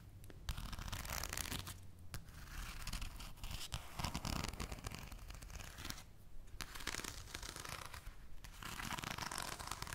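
A full deck of thin, coated paper playing cards is held in both hands while fingertips with long nails fan and riffle them. The cards flick against each other in rapid, dry, papery bursts with a bright crackle and a low rumble underneath. The busy flicking sound continues with brief pauses.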